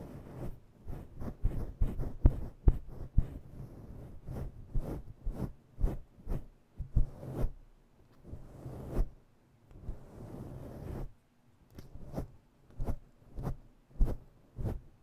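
Long nails slowly scratch the edges of a fluffy faux-fur microphone windscreen. This produces irregular bursts of deep, muffled rustling and thumping, with most of the energy in the low range and a faint hiss between strokes. A quieter stretch of soft, continuous brushing sits in the middle before the uneven scratches resume.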